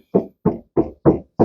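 Five evenly spaced knocks land on the right-hand, driver's side steel body panel of a Toyota Mighty pickup truck. Each is a short, dull, mid-low thud that fades within a fraction of a second.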